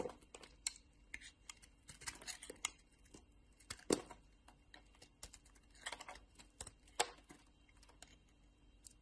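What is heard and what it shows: A solid pink bar of soap, partly carved and held in the hand, is scraped and shaved with a metal craft-knife blade. Quiet, crisp scraping and shaving clicks come in irregular bursts, each short and dry with a bright edge. A few sharper cuts stand out above the soft background texture.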